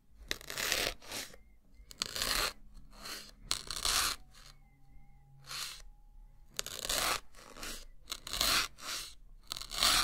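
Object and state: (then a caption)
Melamine foam sponge being pierced. A white solid melamine foam block, held in the fingers, is stabbed repeatedly with a thin metal needle. Each stab gives a sharp, bright, crunchy tearing burst, and the bursts come at an uneven pace with short quiet gaps between them. A faint squeaky tone sometimes lingers under the crunching.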